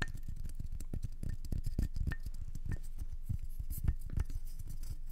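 Long nails tap and scratch the rim and flat face of a solid, round wooden candle-jar lid with a small dark metal handle, held in both hands. Quick, dry, closely spaced taps and scrapes come with almost no ring, weighted toward a low, soft thud, with a faint brief tone near 2 kHz on a few strikes.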